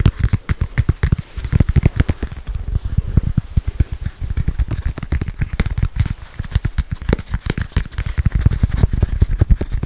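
A small, solid red foam stress ball with a soccer-ball pattern is tapped and scratched rapidly with long nails. The result is a fast, dense stream of short, dull, low thuds, mixed with faint scratchy crackle.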